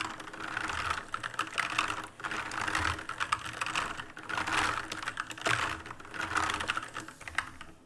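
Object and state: Plastic mechanical keyboard being typed on.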